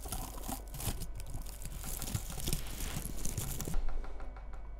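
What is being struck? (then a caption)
Synthetic bristle bottle-brush tree. Long red nails scratch and rub the frosted synthetic bristles of a small cone-shaped bottle-brush Christmas tree decorated with bead ornaments. The result is a dense, continuous crackly rustling with many tiny bright crunches over a low background hum. The bright bristle noise fades out near the end.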